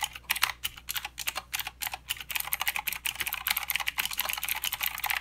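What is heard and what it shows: Fingertips of both hands type continuously on a full-size mechanical keyboard with plastic keycaps and blue clicky switches. Sharp, bright clicks with almost no low end and a very short decay come as separate strokes at first, then pick up into a dense, steady patter for the rest of the clip.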